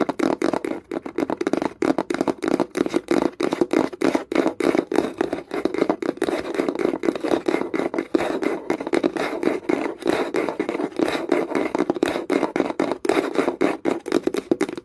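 Long nails tap fast and scratch across the lid of a small closed wooden box with a metal clasp. A dense run of quick, dry, hollow taps centers around 340 Hz, mixed with brief scratchy strokes, each tap dying almost instantly with no ring.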